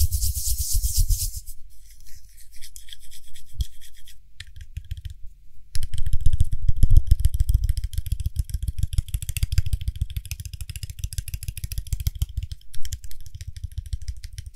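Fingertips and nails tap quickly on the edge and top of the gold lid of a small frosted glass (possibly acrylic) cosmetic cream jar. The result is a dense stream of rapid, short, dry clicks over a low thumping undertone, with a brief quieter stretch before the tapping grows louder and busier.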